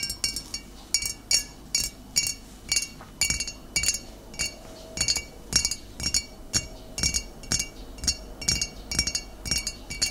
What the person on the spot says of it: ASMR Tapping Glass Bottle (No Talking)